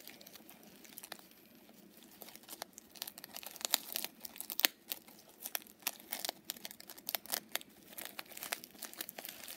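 Long purple nails scratch and rub the flip sequins on a small, soft, padded pink fox-face coin purse, flipping them back and forth. The result is a quiet, irregular stream of bright, crinkly scratching with sharp little clicks and rasps scattered throughout.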